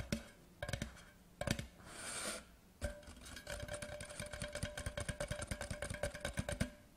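Fast fingertips tap the sides of a large, hollow, white printed cardboard whisky tube lying horizontally. Sparse taps and a soft brushing hiss give way to a rapid, steady run of dull, hollow knocks with a low body around 220 Hz and a faint sustained tone near 600 Hz. Each tap dies almost instantly.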